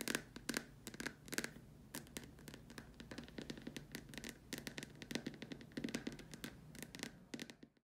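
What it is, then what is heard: Plastic lamp shade. Long dark nails tap quickly and irregularly on the upper surface of a large, hollow white plastic dome lamp shade, near its top hole. Each tap is a sharp, bright click with a brief hollow ring around 1.6 kHz that dies away almost at once. The taps come in uneven bursts, then stop and fade to silence at the end.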